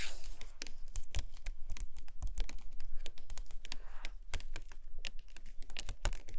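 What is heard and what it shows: Long nails scratch and tap on an open hardcover book lying on a carpet, kept at the same spread: a text page of matte paper and a black-and-white photo page on photo paper. The result is a dense, quick run of crisp, bright paper clicks and dry scratching with a faint low rumble underneath, each tap dying away almost instantly.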